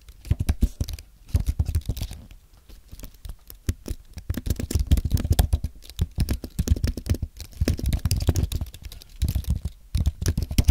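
Fingertips type on a compact white aluminium and plastic Apple keyboard, producing rapid, soft, low-pitched key taps in bursts. The clicks are muted and dull with very little brightness and no ring, and brief pauses fall between the runs of typing.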